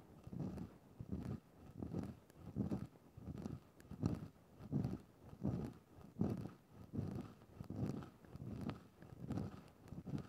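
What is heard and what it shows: A thin wooden stick is pushed into a grey synthetic-fur (faux-fur) microphone windscreen and scratched around in the fur. About fourteen soft swells of low, muffled rustling and scraping repeat in a steady back-and-forth rhythm with almost no brightness.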